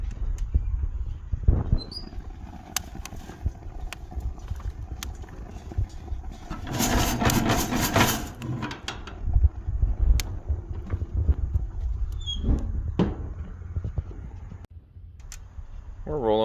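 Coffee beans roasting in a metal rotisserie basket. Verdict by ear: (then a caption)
First crack. Green coffee beans roast in a rotisserie basket on a grill as the basket is opened and shaken, with sharp cracks popping over a steady low rumble and a loud rattling burst in the middle. The beans are in first crack with quite a few cracks happening, showing the roast has reached a light-to-medium stage.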